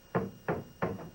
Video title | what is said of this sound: Spy Before You Buy Part Two | So it sounds like a solid pole.